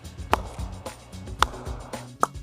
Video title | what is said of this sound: #short #journey #szsports #mssports #englishwillow #cricketbat | A good English willow when you hit it off the sweet spot will make a beautiful sound.